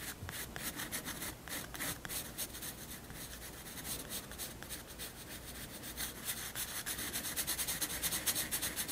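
A pencil held at a low angle rubs shading strokes across a white paper sketchbook page. The result is a steady run of soft, bright, scratchy strokes, about three per second in a loose rhythm, growing slightly louder toward the end.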